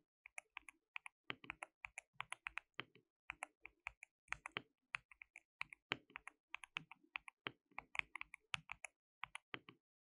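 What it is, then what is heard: Plastic mechanical keyboard being typed on. Both hands type continuously with their fingertips on a compact white-cased mechanical keyboard with a hollow case, white and pink plastic keycaps and RGB backlighting. About fifty quiet, bright, sharp clicks come in quick, uneven bursts, each dying away almost at once with very little low end.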